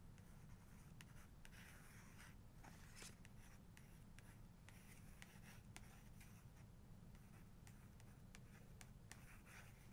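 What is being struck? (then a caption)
Paper page of a photo book. Long nails trace and scratch across a printed group photo on the same open page of a paper photography book. Soft, dry scratching strokes come through as bright streaks over a steady, quiet low hum that fills the whole clip.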